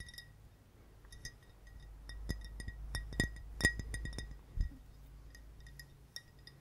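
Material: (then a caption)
Glass. Fingers tap on a glass bottle, giving short, bright clinks with a clear ringing tone around 1.9 kHz. The taps come irregularly at varying strength over a low, steady background hum.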